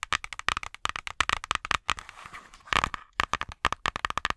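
Long nails tap and scratch the thick cardboard cover of a small children's board book, "Christmas Cookie," held upright. A quick run of sharp, dry, bright taps with a hollow knock around 1.3 kHz is broken midway by a soft, hissy scratching passage, then the tapping resumes.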